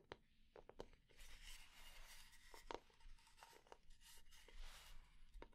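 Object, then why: Wooden kitchen spatula. Long nails scratch and tap the solid flat blade of a light wooden kitchen spatula held in hand. Sharp, dry taps cut through stretches of soft, hissy scratching across the wood.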